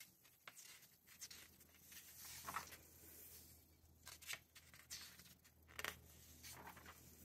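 Fingertips turn and brush the glossy paper pages of a thick November 2024 issue of Vogue magazine held open on a red tablecloth. Soft, bright paper flips and rustles come and go over a quiet, steady low hum.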